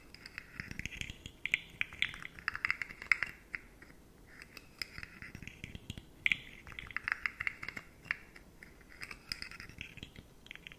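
Long manicured nails tap and scratch along the segment ridges of a handheld rainbow fidget slug made of hollow, jointed, rigid matte plastic segments, likely 3D-printed. Quiet, dry scratching comes in bright rasping bursts with quick clicky taps, each dying away almost instantly, with short pauses between bursts.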